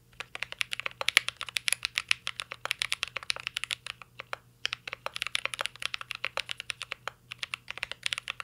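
Fingertips type continuously on a mint-green Cyberboard R3 mechanical keyboard with plastic keycaps and an aluminum case. The result is a rapid stream of short, bright, clicky key taps centered around 2 kHz, with no ringing tail. There is a brief pause near the middle of the clip.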